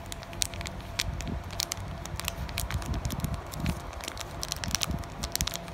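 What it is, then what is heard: Plastic foil booster pack. Fingers with long painted nails tap, scratch and crinkle a flat, sealed blue Pokémon trading card booster pack with cards inside, its thin plastic foil wrapper crackling. Quick, sharp bright ticks and crinkles run steadily over a softer low rustle throughout.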